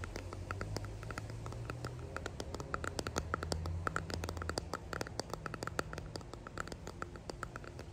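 A small clear resin hexagon box holding pressed daisies and gold flakes is held in both hands and rapidly tapped and scratched with fingertips and long painted nails. The result is a quick, uneven patter of light, dry clicks and scratchy taps that stop instantly, over a soft low hum.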